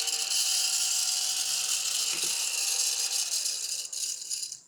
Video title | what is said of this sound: 🚨Must-Have Amazon Craft Room Finds! + 💡Genius DIY Craft You’ll Love! ✨ | when I shake it, there's no glitter coming out. You can hear it in there.